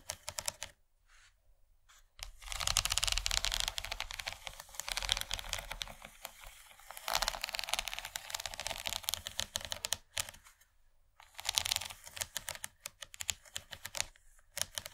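Long nails of both hands tap and scratch the textured ridges of an empty, rigid yellow plastic corn-shaped serving tray. Dense, fast, bright clicking and scratching comes in bursts separated by brief quiet pauses, with almost no ring after each stroke.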